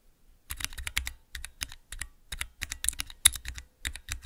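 Fingertips press the keys of a small clear plastic 3x3 key switch tester fitted with Cherry MX mechanical switches. It makes a quick, uneven run of short, bright clicks and clacks, each with a soft low thump underneath. The clicks die away almost at once, with brief quiet gaps between bursts.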